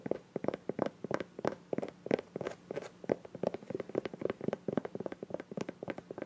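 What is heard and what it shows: Long nails tap and scratch on a small, hollow green soft plastic squeeze bottle with a white cap as it is turned in the hands. The result is a rapid, uneven run of dry, hollow clicks centred around 500 Hz, with faint scratching in between; each tap dies away almost at once.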